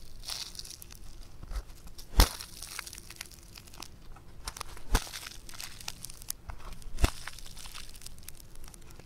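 A hand-sized, solid lump of pink foam clay (floam) is squeezed, pressed and folded back together with fingertips and thumbs. The result is soft, irregular crunching and crackling, with three sharper, louder cracks standing out from the steady crinkle.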